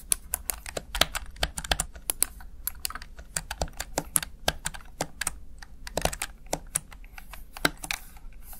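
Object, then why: Plastic gaming keypad keys. Fingertips press and tap rapidly on the backlit plastic keys of a Razer Tartarus Chroma gaming keypad. Each press gives a short, dry click with a bright top and almost no ring, about 36 in all, coming in an uneven, quick typing rhythm over a low, steady hum.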